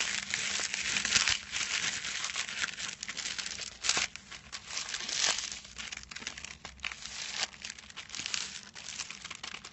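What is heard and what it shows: Fingertips scratch and crinkle the silver foil wrapping a small rectangular package resting on a white cloth. The result is a steady, close, bright crackling rustle with sharp crinkly bursts, little low end, and a faint low hum underneath.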